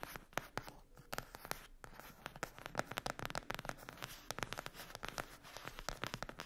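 Long acrylic nails scratch and tap the glossy printed cover of a flat rectangular cardboard eyeshadow palette lying on a fluffy mat. The result is a quick, dense run of short, dry clicks and scratchy rasps with almost no ring.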